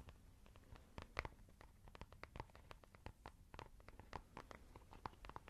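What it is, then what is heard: Fabric makeup bag. Long nails scratch and tap a soft, hollow white textured fabric makeup pouch in a quick, uneven series of short, dry clicks and scrapes. Each tap dies away almost at once over a faint low rumble, with a few sharper, louder taps standing out.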